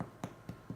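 The bottom of a freshly baked organic sourdough loaf is tapped four times, giving short, dull, hollow low thuds that die away almost instantly. The hollow sound shows the loaf is done and baked through, with an internal temperature of about 211 °F.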